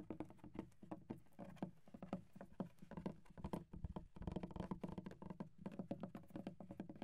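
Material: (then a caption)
Wood. Fingertips of both hands tap and drum on a flat, solid wooden desk with visible wood grain. The result is a quiet, continuous patter of rapid, dry knocks with a low, woody body and almost no ring after each tap.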